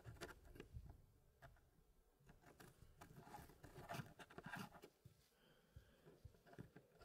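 Fingertips in fingerless gloves press and slide small solid wooden pieces inside the hardwood frame of a small square wooden packing tray puzzle with a light wood base. The result is quiet, irregular rubbing and scraping with soft, dull clicks as the pieces knock together and shift.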